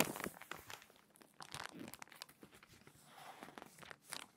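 Hands with long nails flip the pages of an open glossy paper magazine and press the spread flat. The result is quiet, crinkly rustling and soft tearing-like paper sounds with many brief bright crackles.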